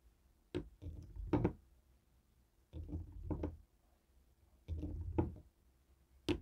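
A hand-held jade roller taps and knocks on the buttons of a black plastic Fire TV remote resting on a wooden table. Short, dull, low clicks and knocks come in three clusters with quiet gaps between them, each dying away almost instantly with no ring.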